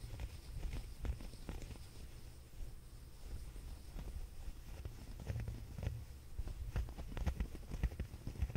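A grey waffle- or chenille-like knit sweater, lying on a fuzzy blanket, is held and folded in both hands while fingertips scratch and rub its knit texture. The result is soft, muffled scratching and rubbing with short, dull brushing strokes, mostly low and muted, at a steady quiet level that swells slightly toward the end.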